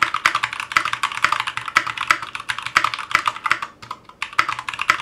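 A 60% Clueboard mechanical keyboard with Zealios V2 62g switches, in a metal case with GMK ABS plastic keycaps, sits on a cutting mat and is typed on continuously with the fingertips of both hands. It makes a steady stream of short, crisp, bright clacks centered around 1.3 kHz with very quick decay, with a brief lull just before the four-second mark before the typing resumes.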